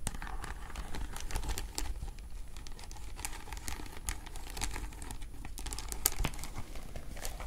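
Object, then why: Beaded clutch bag with faceted beads. Long nails scratch and tap across the faceted glass or acrylic beads of a hollow vintage beaded flower clutch held up close. The result is a dense, steady stream of crinkly scratching dotted with bright, sharp clicks over a faint low rumble.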